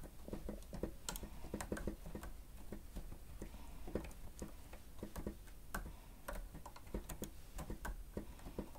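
Fingertips of both hands press and tap the keys of a grey plastic stenotype keyboard with a hollow housing while typing. The result is a quiet, uneven stream of quick, dry clicks and taps with a low, hollow thump and almost no ring.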